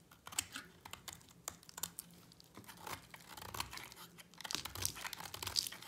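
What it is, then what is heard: Dry soap bar being shaved. A utility knife blade shaves a solid purple-and-white striped bar of dry soap held in one hand, with a second idle yellow soap bar nearby. The strokes make quiet, dry, crisp scraping and crackling sounds that are bright and short with almost no ring. Flakes peel off and pile up on the mat.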